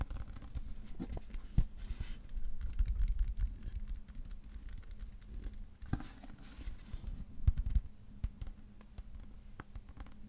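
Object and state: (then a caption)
Hardcover paper book, tapped and scratched. Fingertips and nails tap and scratch the dark cover and cream paper page edges of a thick, solid hardcover book held in both hands. The result is soft, muffled, low tapping and brushing with quick, dry transients and a faint steady low hum underneath, close and quiet throughout.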